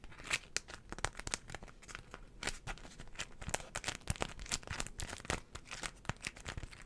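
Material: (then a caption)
Waxed cotton. A small folded floral beeswax wrap of stiff wax-coated cotton is tapped and scratched with long nails and crinkled by hand. Many quick, sharp clicks and crisp crackles with a bright, papery texture sit over a low, soft handling rustle, and each sound stops almost at once.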